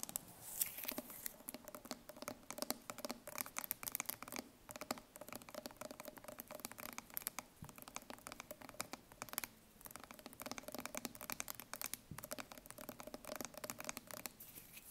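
Long nails tap rapidly on the metal bottom and rim of a full steel tin can held on its side. The result is a quiet, steady patter of sharp, bright clicks with very short decay, over a faint metallic ring that hums near 250 and 600 Hz.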